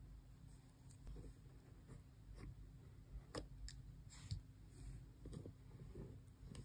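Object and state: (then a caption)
Cardboard box tapped with fingernails. Long press-on nails tap and scratch along the sides and back of a small, closed, hollow cardboard Xbox controller box. Quiet, dry clicks and faint scraping sit over a dull, low rumble, with brief bright ticks and no lingering ring.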